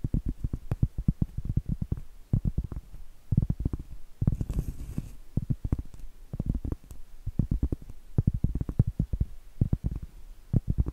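Long acrylic nails tap and scratch the surface of a round, flat, solid cork trivet held upright close to the microphone. Quick runs of soft, dull, low-pitched taps with almost no ring come in bursts separated by brief pauses, and a short stretch of scratching midway adds a brighter, breathy rasp.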